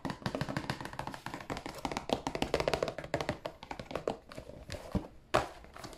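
A fingernail taps rapidly and repeatedly on the end panel of a hollow, glossy cardboard tissue box at close range. The taps are short, dry and clicky, with a hollow mid-range tone around 600 Hz. Occasional sharper, louder taps stand out from the run.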